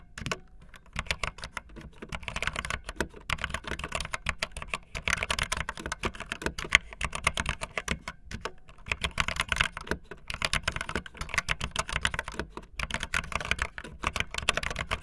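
Fingertips with long nails type fast on a backlit optical linear mechanical keyboard with white and blue plastic keycaps. A dense, steady stream of short, bright plastic clacks continues for about fifteen seconds, with brief lulls near the start and around the middle.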